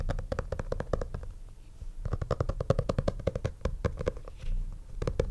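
Fingertips and nails tap and scratch the cover of a black stitched leather portfolio lying flat on a desk. A rapid run of short, dull, low-pitched taps is mixed with brief scratchy rubbing, with a quieter scratching lull near the two-second mark before the tapping picks up again.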